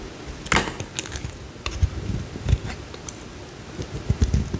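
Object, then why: Bar of soap cut with a metal blade. A metal utility knife blade scrapes and carves a small solid cream bar of soap, sending curls coming off. Short, dry scraping ticks and soft low thuds sound in a scattered series, each with a brief bright edge and almost no ring.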